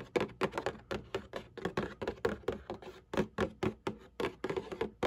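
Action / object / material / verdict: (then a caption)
tap / cardboard tissue box / cardboard / none. Long nails scratch and tap the printed bottom panel of a cardboard Kleenex tissue box resting on a black table. A steady run of quick, dry, hollow taps sounds with a muffled mid-range body and short scratchy bursts between them. Each tap dies away almost at once.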